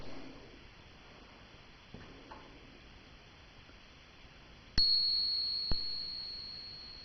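A solid silver dollar coin is tapped twice in a ping test after a few faint ticks, and it rings with a clear, high, sustained note that slowly fades over the next couple of seconds. The note lasts longer and sounds higher than a cupronickel crown's, marking the coin as real silver.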